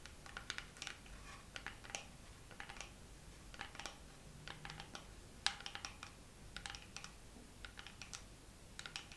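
Fingernails tap slowly on a dermaroller case in a second round of tapping. The taps come as many light, dry clicks with bright, crisp tops and almost no ring, some spaced apart and some in quick clusters, over a quiet low background hum.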